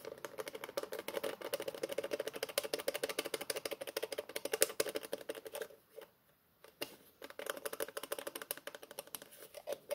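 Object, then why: Plastic tube container with plastic screw cap. Fingertips twist and click the orange plastic cap on a green plastic tube-shaped container, making a rapid, uneven stream of short, dry plastic clicks with a midrange tone around 450 Hz and bright crackle. The clicking stops for about a second near the six-second mark, then resumes at the same quick pace until the end.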